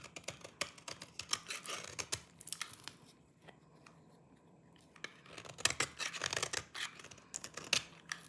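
A solid, dry green oval bar of soap held in the palm is deeply carved into flakes by a small knife held in the other hand, which cuts and scrapes it. Rapid, crisp, bright scraping and cutting crackles come in dense bursts, fall to near silence for about two seconds in the middle, then resume just as busy.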